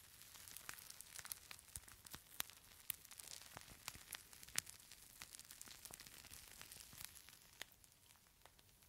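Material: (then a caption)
Plastic. A palm-sized clear plastic pouch filled with purple beads is squeezed, crinkled and shaken by hand. It gives a quiet, steady stream of bright, dry crackles and sharp ticks with almost no low end. Each click dies away instantly.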